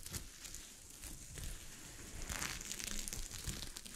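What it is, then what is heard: Sequin fabric being scratched. Long fingernails scratch across a sheet of fabric covered with small gold sequins, making a dense crinkling, rustling scrape with bright, hissy highs and a low rumble underneath. The scratching is continuous and uneven, and it grows busier and louder in the second half.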